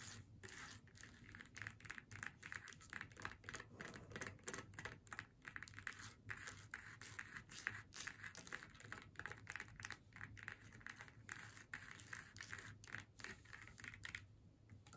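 Long nails scratch and tap across the flat surface of a glittery faux leather snowman door hanger, which has two small metal jingle bells and lies on a wooden table. The nails work the leather away from the bells. A steady stream of quick, dry scratchy clicks with a bright edge continues over a faint low hum, and the sound thins near the end.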